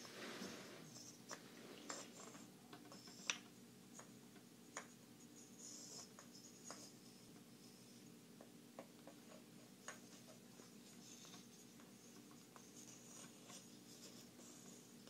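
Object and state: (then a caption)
Wooden puzzle blocks. Small, solid, light-colored wooden interlocking puzzle blocks of odd shape are held in both hands while fingertips and long manicured nails tap and click the pieces together, then pull them apart. Sharp, bright, short clicks and taps stand out over a steady, quiet background hum.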